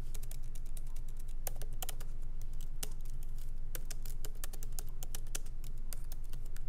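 Light fingertip typing with both hands on a MacBook Pro laptop keyboard, plastic keycaps set in an aluminum body, resting on a wooden desk. Quick, unevenly spaced clicky taps run continuously over a steady low hum, each tap short and bright with almost no ring.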